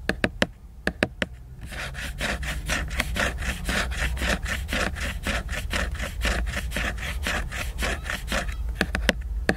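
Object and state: Laminated hardcover book cover.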